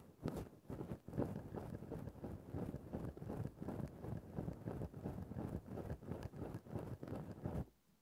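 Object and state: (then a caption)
Synthetic fur microphone windscreen being scraped. A thin bamboo stick scratches a grey faux-fur microphone windscreen at different spots on the fur. It makes a steady run of soft, muffled, low-pitched scratching and rustling strokes with little brightness. The strokes stop just before the end, leaving near-silence.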